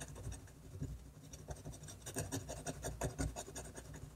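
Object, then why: Paper sheet scratched by a pen. A technical pen scratches dense short strokes across a flat sheet of drawing paper held by the free hand. The result is a quick, uneven series of soft, dry scratches with faint bright edges over a steady low hum.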